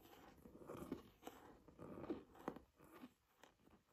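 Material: Leather.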